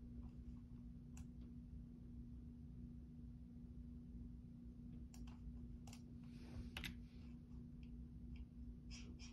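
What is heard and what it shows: Fingertips press and tap the keys of a full-size black plastic Logitech keyboard with a hollow housing, resting on a desk tray, while typing. Sparse, quiet, bright key clicks come through over a steady low hum, with a brief cluster of clicks near the end.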